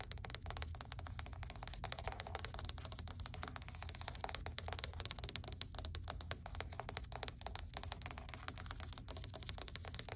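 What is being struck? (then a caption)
Wood-look laminate plank. Long white acrylic nails tap rapidly on a flat, solid grey wood-grain laminate or vinyl flooring plank. The result is a dense stream of short, dry, bright clicks with almost no ring, over a steady low rumble.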